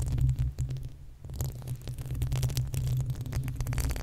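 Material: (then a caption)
Metal mesh. The uncovered, hollow metal mesh grille of a desktop condenser microphone is scratched with long acrylic nails on both hands. The result is a dense, low rumbling scrape centered in the deep bass, with quick scratchy strokes and a brief quieter lull about one second in.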